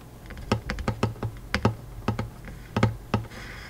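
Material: Wood.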